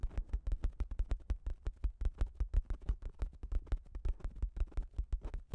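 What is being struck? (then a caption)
Plastic shower cap stretched over a microphone. Long acrylic nails rapidly scratch the top of a pink plastic shower cap with a cat print, stretched over a Zoom H6 recorder. The result is a fast, uneven stream of short, dull, bassy scuffs and thumps with faint crinkly tails, each dying away almost at once.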